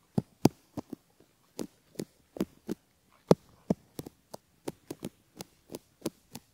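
A thin bamboo ear pick held in the fingers gently scratches and rubs around the outer ear and canal entrance of a single cream-coloured silicone ear model, a solid soft mold with a metal mic capsule in the canal. About 18 short, soft, muffled scratching taps with a low, dull body are heard at an uneven pace, each dying away almost at once with quiet pauses between.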